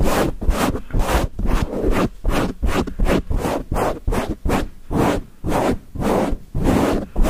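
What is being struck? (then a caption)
Foam microphone windscreen. Nails and fingertips of both hands scratch rapidly at a grey foam windscreen on a microphone, producing about sixteen fast, rough scratching bursts separated by brief gaps. The scratches sound heavy and muffled, with strong low-end rumble and a broadband hiss that reaches high.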